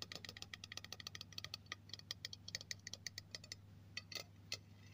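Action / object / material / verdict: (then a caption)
tap / aluminium aerosol can / aluminium / none. Fingertips and nails tap the hollow body of a silver aluminium aerosol spray can near the cap, held by hand, making 29 quick, bright, tinny ticks in a light rattling rhythm. Each tap is short with almost no ring, and a steady low hum runs underneath.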